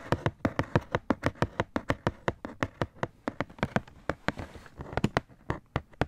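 A black Nike Air cardboard shoebox, hollow and held up in the air, is tapped and scratched by fingertips and nails along its surface and edges. Quick dry taps land in a steady rapid run, about 32 of them, each with a low hollow thump and a brief crisp click. Near the end, a soft scratchy rustle fills the gaps between taps.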